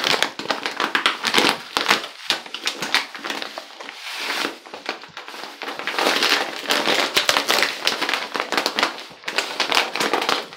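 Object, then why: Plastic pouch of Epsom salt. A full, medium-size Dr Teal's plastic pouch of Epsom salt is held close to the camera, crinkled with the fingers, tapped, and shaken quickly. It gives dense, bright crinkling and crackling in rapid bursts with no low end, and each sharp crackle dies away almost at once.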